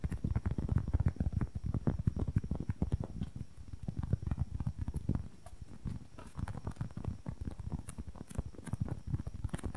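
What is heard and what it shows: Long nails rapidly tap and scratch on a small, soft, solid white-and-red polyurethane foam squishy toy held close to the mic. The result is a dense, continuous patter of dull, low, muffled thuds with very short decay and almost no bright content. The tapping eases slightly in the middle and then picks back up.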